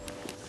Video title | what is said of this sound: 🏆 KAI W: Sony ZV-E10 II - досі краща камера для блогера! | тепер вона видає пластиковий звук